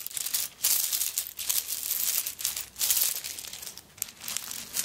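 Long nails scratch and scrape across the coconut shell chips covering a handbag that is held up. The result is a dry, bright, crinkly rasp that comes in repeated swelling bursts, with almost no low end and little ring after each stroke.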